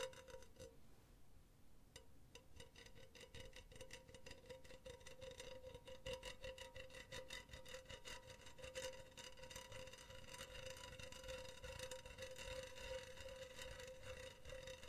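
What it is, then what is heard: Metal mesh pen holder. Long teal nails scratch and rub the outside of a hollow, empty, silver wire-mesh cylindrical pen holder. The result is a steady, raspy, rapid scratching with a bright metallic sizzle. A faint sustained ring hums through it at around 520 Hz.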